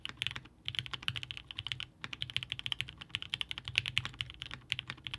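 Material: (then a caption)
Aluminum, plastic. Both hands type steadily with their fingertips on a Haus 65% mechanical keyboard by Hand Engineering, with a blue-grey aluminum case, gummy worm mount, polycarbonate plate, 8008 Inks linear switches and GMK DMG ABS keycaps, resting on a desk mat. The keys are pressed and bottomed out in a quick, continuous stream of short, bright clacks that peak around 2.7 kHz, over a faint low thump and with almost no ring.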